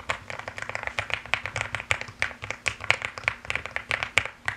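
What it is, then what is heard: Mechanical keyboard with plastic keycaps. Fast typing with fingertips and long nails on a mechanical keyboard with plastic keycaps produces a rapid, uneven stream of sharp, bright clicks and clacks. Each keystroke is short and dry, with almost no ring and little low-end weight.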